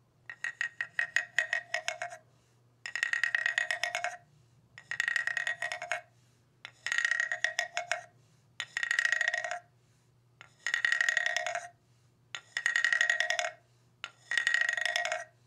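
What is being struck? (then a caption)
Ridged bamboo tube instrument. A long hollow bamboo tube, painted yellow and black with a row of ridged slats and lying on carpet, is tapped and scraped along its ridges with a wooden-handled mallet that has a small round rubber-like head. Eight bursts of quick, clattering, woody ticks ring with a hollow, pitched tone, each about a second or more long and separated by short pauses, over a faint low hum.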